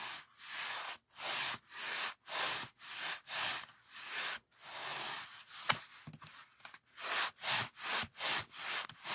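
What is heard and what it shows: A large white polyethylene packing foam sheet is rubbed with the fingers and palm in a rhythmic run of short strokes, each a bright, airy swish with almost no low end. Midway the strokes break into a brief patch of irregular crinkly squeaks and ticks, including one sharp snap, before the steady back-and-forth rubbing resumes.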